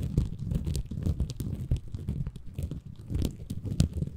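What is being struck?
Bamboo fiber sponge.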